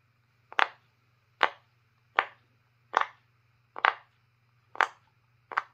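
A purple, square, roughly hand-sized silicone pop-it fidget toy, with a grid of hollow bubble domes, is held in one hand while fingertips press and pop the bubbles one by one; other pop-its lie untouched on a wooden table. Seven separate short, dry pops ring out at a steady pace, each a quick double-edged snap with a bright midrange body around 1 kHz that dies away almost at once. A faint low hum runs underneath throughout.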